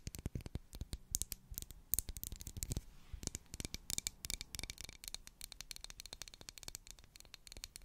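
Long black acrylic nails scratch the sides and top of a solid, medium pink twisted-ridge wax pillar candle. A dense run of quick, dry scratching clicks and taps fills the clip, with bright, crisp highs over a soft low thump. Each sound stops almost instantly.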